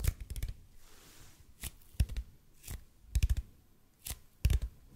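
Fingertips tap and scratch on a large hollow red-and-white EPP bead foam roller. Short, dull, low thuds come in irregular clusters with almost no ring. A faint bright scratching hiss fills the gaps between them.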